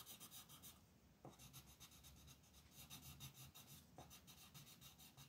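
A green wooden colored pencil rubs in quick, short strokes across a flat printed paper coloring sheet on a desk while the other hand holds the sheet. The result is a quiet, steady, bright scratchy rasp in rapid pulses, with a soft tap at about 1.2 and 4 seconds.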